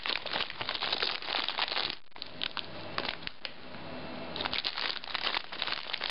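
A small metallized plastic chip bag of Bugles, full of corn snacks, is held in both hands, crinkled and squeezed while long nails scratch its surface. Dense, bright crinkling and crackling fill the first two seconds, then thin to sparse, softer crackles. A burst of busy crinkling returns for the final stretch.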